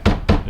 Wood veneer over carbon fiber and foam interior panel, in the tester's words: this sounds solid because its carbon fiber nothing chintzy on it